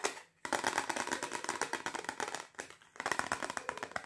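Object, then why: Plastic compact disc. Long fingernails and fingertips rapidly tap and scratch a single thin, solid polycarbonate compact disc with a reflective silver side, held in both hands. A dense stream of dry, bright plastic clicks and scrapes centered near 1.9 kHz, each dying away almost instantly, is broken by brief pauses before half a second and around two and a half seconds.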